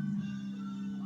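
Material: Nothing is struck.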